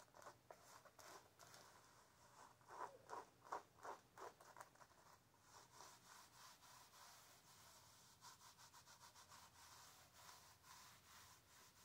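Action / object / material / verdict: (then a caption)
scrape / canvas high-top sneaker / canvas / none. Long nails scratch and rub along the canvas side of a blue canvas high-top sneaker, making quick, dry, papery strokes with a bright hiss. A run of louder, sharper scratches peaks in the middle, then the sound settles into a steady, softer rubbing rhythm.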